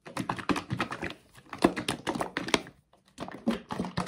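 A blue plastic Dr Teal's bath soak bottle, hollow and holding thick liquid, is gripped in the hands and shaken back and forth. Bursts of soft, thick sloshing and muffled knocks come in quick runs, broken by short pauses near 1.2 and 2.9 seconds.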